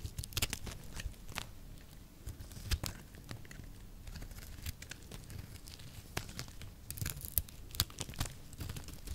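A small blade shaves thin curls from a solid oval peach-colored soap bar held in the palm. The scraping makes a quiet, steady run of short, crisp crackling and crinkling ticks with bright edges over a low, soft rumble. A few louder snaps stand out near the start and toward the end.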